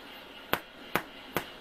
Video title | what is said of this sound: No fail Bread | thump it what it sounds like that it's done